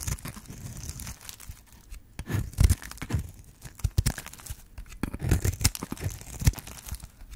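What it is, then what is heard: Dry bar soap being cut. A metal blade scrapes and cuts into the surface of a hand-sized, yellow-orange solid bar of dry soap held in the hand, and shavings fall away. Dry, crumbly scraping and crunching crackle through the clip, with sharp, brief cracks and low knocks standing out above a soft, continuous rasp.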